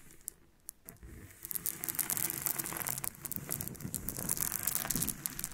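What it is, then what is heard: Loose freshwater pearls. Two hands with long painted nails rub and roll a handful of small, solid nacre freshwater pearls scattered loose on a flat pink surface. The pearls click against each other and the surface in a dense, irregular patter of bright, crisp ticks over a soft rustle. The sound starts quiet and grows busier after the first second.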